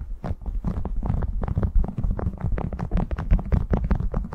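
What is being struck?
Waxed cotton food wrap.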